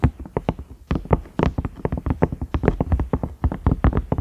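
Fingertips and nails tap the round knob of a large cream, ridged silicone microwave lid in a quick, uneven run of about 25 taps. Each tap is a soft, dull, low knock with a faint click on top that stops almost at once, with no ringing.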